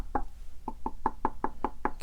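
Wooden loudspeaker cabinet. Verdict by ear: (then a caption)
Solid. Nine quick knocks on the cabinet of a Triad loudspeaker, each a short, dry, dead-sounding thud with a tone near 890 Hz and almost no ring. The cabinet sounds solid and built like a tank rather than hollow.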